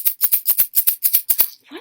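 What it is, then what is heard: Plastic egg containing rice. A blue plastic Easter egg filled with rice is shaken in eleven quick bursts, each a bright, hissy rattle of grains against the shell. The shakes come in rapid pairs, and a faint, softer sound follows at the end.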